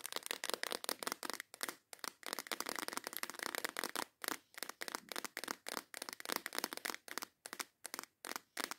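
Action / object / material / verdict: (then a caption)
tap / clear plastic case of nail files / plastic / none. A transparent plastic case full of nail files is tapped and scratched across its lid and edge by long acrylic nails. The result is fast, intense bursts of dry, crackly clicking and scraping. The sound is bright and sits mostly in the mid and high range, with no low end and almost no ring.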